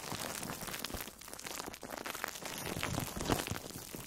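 An orange-slice-shaped foam sponge wrapped in plastic food wrap is squeezed with fingertips and long nails. It makes a steady stream of dense, bright crinkling and crunching with small crackly bursts. A slightly louder squeeze comes near the end.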